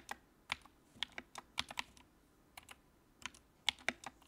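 Fingertips type on the keycaps of a compact white plastic mechanical keyboard with backlight. They produce a quiet, irregular run of crisp, bright clicks, each short and dry with almost no low end.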